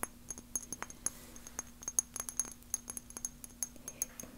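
A small clear glass spray bottle with a black pump top is held in both hands and tapped with fingernails, and the fingers wear rings that may add some metal clinks. The result is a quiet, rapid, irregular series of short, dry, high-pitched glassy clicks and clinks that stop almost instantly, over a faint steady low hum.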